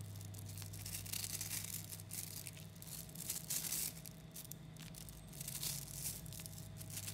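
Fingers pull a clump of about 11,000 tiny 3mm neodymium magnetic balls into strands and squeeze them back together. The small metal spheres make a dense, bright crackle of rapid clicks that swells and fades in bursts over a steady low hum.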